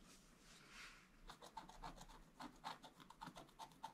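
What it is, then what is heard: Scratch art board being scratched. A wooden stylus scratches with firm strokes across a flat, black-coated scratch art page. A soft, breathy rubbing comes first, then a quick, uneven run of short, dry scrapes with a slight tonal squeak and a bright, raspy edge.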